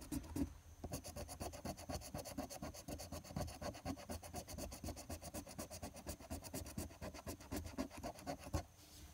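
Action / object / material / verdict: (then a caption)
scrape / paper scratch-off ticket scraped with a coin / paper / none. A silver coin vigorously scratches the latex coating on a flat paper lottery scratch-off ticket (#025). Dense, rapid strokes make a steady rasping scratch, about four per second, with bright gritty texture over a low rub.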